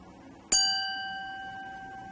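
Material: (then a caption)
Crystal glass. A crystal wine glass is tapped once and gives a bright, clear ding. It rings on with steady high overtones that fade slowly. The solid crystal vibrates rapidly when struck and pushes the air like a bell.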